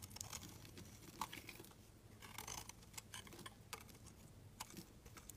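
A hand-held, cream-colored solid soap bar is sliced into thin shavings with a metal box-cutter blade. Quiet, crisp scraping and crackling cuts come in repeated short bursts, with bright, dry edges over a faint low background hum.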